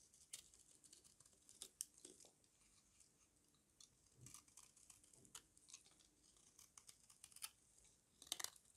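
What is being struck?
Bar of white soap cut with a small blade.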